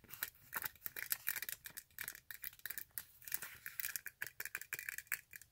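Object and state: Glitter fabric high-heel sandal.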